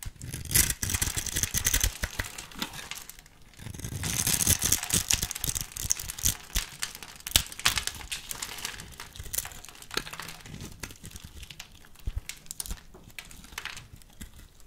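A small metal blade held in the fingers carves and scrapes across a solid pink soap bar, cross-cutting it into small cubes that crumble off. Dense, bright, crinkly scraping and crumbling fills the clip in uneven bursts of sharp little cracks, with a brief lull just after three seconds and the sounds thinning toward the end.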